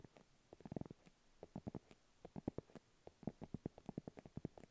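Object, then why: Padded faux leather makeup pouch. Long acrylic nails tap and scratch a small, round, hollow pink padded faux leather makeup pouch held in both hands. The result is quiet, dull, hollow thuds with a soft scratchy edge, coming in quick, irregular clusters with short gaps between them, and each tap dies away almost at once.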